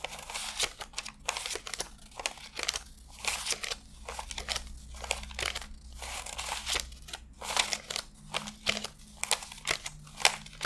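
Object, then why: Paper banknotes. A handheld stack of US $100 paper bills is counted by fingertips that flick and rub the thin bills one by one, laying them on strapped stacks. Rapid, bright crinkling and papery snaps repeat throughout over a faint low steady hum.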